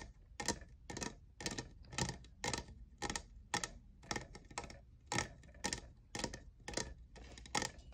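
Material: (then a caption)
Plastic. Fingernails tap the faceted side of a tall, hollow, lavender plastic jeweled tumbler that appears empty. The result is a steady series of short, bright clicky taps, about two per second, with a ring near 1.9 kHz that dies away almost instantly.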